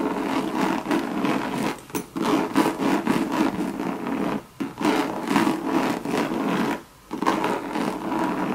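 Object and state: Coated canvas bag scratched with nails.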